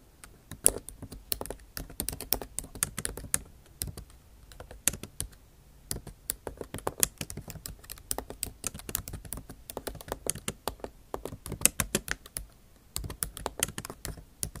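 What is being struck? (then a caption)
Laptop keyboard, plastic keys. Typing on a backlit MacBook Pro keyboard, its bare plastic keys set in an aluminum body, using the tips of long acrylic nails. Quick, dry clicking taps come in uneven bursts with brief pauses, each one bright and sharp with almost no ring.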